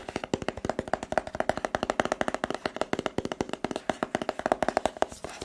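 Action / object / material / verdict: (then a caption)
tap / cardboard smartphone box / cardboard / none. A rigid, hollow, white cardboard smartphone box is tapped rapidly with the fingertips on its sides. About forty quick, dry taps follow one another with a hollow, papery knock centered around 670 Hz. Each tap dies away almost instantly.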